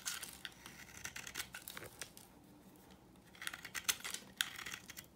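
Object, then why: Soap bar scraped with a knife blade. A solid, dry, vintage yellow oval soap bar is held in the hand and scraped and shaved with a utility knife blade into crumbly flakes. The result is a run of dry, bright, crisp scraping and crackling strokes, dense at the start, quieter in the middle, then picking up again with sharper scrapes near the end.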